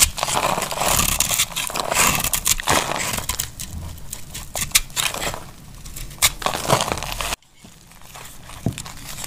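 A metal utility knife blade shaves and cuts into a solid, hand-sized, cream-colored embossed bar of dry laundry soap held in the hand. The result is dense, bright crackling and scraping with irregular crisp snaps. The sound drops off abruptly near the end, and softer scraping with a few sharp cuts follows.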